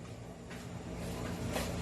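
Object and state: Nothing is struck.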